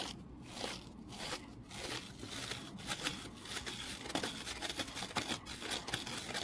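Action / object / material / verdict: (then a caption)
scrape / foam kitchen sponge / foam / none. A small rectangular foam kitchen sponge is held in the hand, scratched with the fingernails and squeezed. The result is a bright, crackly scratching and crunching with short, irregular bursts over a soft, steady rustle.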